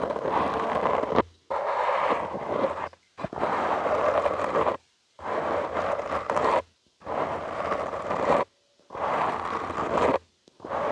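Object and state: Foam microphone windscreen being scratched.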